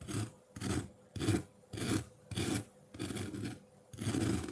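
A metal fork's tines scrape a solid block of colored ice sitting in a white ceramic bowl with some melt water, shaving off frost. Seven rough, rasping strokes follow one another in a steady rhythm, each a gritty scrape with a low body and a bright edge, separated by short quiet gaps.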